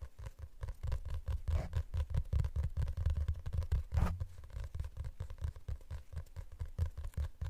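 Fingernails scratch and tap on the cover and edge of a glossy hardcover book, making a steady run of quick, soft, dull taps and scratchy strokes with a deep, thumpy low end. A couple of brighter scraping swipes stand out partway through.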